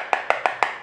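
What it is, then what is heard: Hollow-sounding loose floor tile. Four quick taps on a ceramic floor tile give a hollow, clicky knock centered around 830 Hz that dies away almost instantly. The tile is loose and failing, already visibly coming off at the edges.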